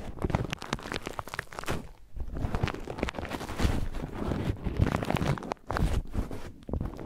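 An empty white paper tea filter bag, held in the fingers, is crinkled and rubbed against a small handheld microphone. The result is a dense, close stream of papery crinkling and scratchy rubbing with heavy low bumps and thuds, pausing briefly twice before carrying on.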